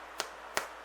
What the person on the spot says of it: you can just tap it see how it sounds hollow